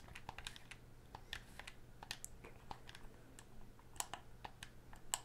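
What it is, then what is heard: Plastic game controller, buttons clicked and body tapped. A black, hollow, plastic wired game controller is held in both hands while thumbs and fingertips click its buttons and tap its plastic body. The result is a quiet, uneven stream of short, dry clicks and taps with bright edges that stop almost instantly, over a faint steady low hum.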